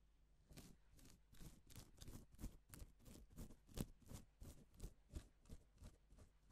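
A gloved fingertip draws lines across pink reversible plastic sequin fabric, flipping the sequins to silver. Sixteen quiet, evenly spaced strokes are heard as soft, dry swishes with a bright rasp of the sequins clicking over.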